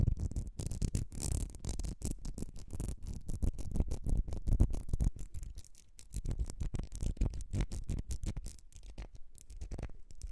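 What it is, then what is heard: Ribbed glass perfume bottle. Long red nails scratch rapidly across a small, partly filled ribbed glass perfume bottle with a gold cap. The result is a dense, continuous run of quick scratchy strokes, heavy and low in tone with bright, crisp edges. It is busiest in the first half and grows slightly sparser toward the end.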